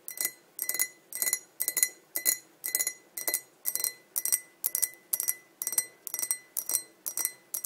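A tall, clear, hollow and empty glass pint tumbler is tapped on its sides with long nails, giving about fifteen short bursts of quick, bright clinks roughly every half second. Each burst carries a faint ringing tone near 2 kHz that fades almost at once.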